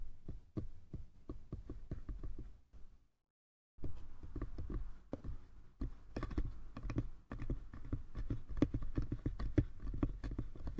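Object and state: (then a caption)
Small wooden box. Fingertips tap and scratch the sides of a small, hollow, light-wood box, making quick, soft, dull knocks with a low, hollow body. Around the three-second mark the tapping pauses in near silence, then resumes with a denser, scratchier texture over the tapping.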